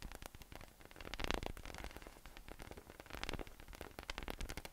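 Fingertips tap and rub a hollow, air-filled yellow inflatable PVC massage ball with nubs resting on a table. The result is a dense run of quick soft taps mixed with a dry, rustling scratch that sounds almost like static, with a low thump underneath and bright crackle on top. It swells louder in brief bursts.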